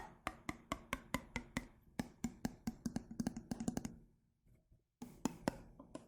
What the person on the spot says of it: en tapping, avec le changement de son en fonction de l'eau